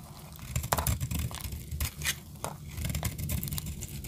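A solid blue dry soap bar held in the hand is sliced with a metal blade, and flakes break off crunchily. Short bright, crackling scrapes and crunches come in irregular bursts over a steady low rumble.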